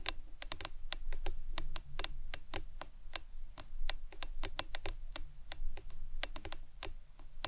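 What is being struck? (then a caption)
Hard plastic drinking tumbler with lid. Long nails tap and scratch a hollow, printed hard plastic lemonade tumbler with a lid and straw, first lying on its side and then held upright. Quick, sharp, bright clicks come in an irregular stream, each dying away almost at once over a steady low rumble.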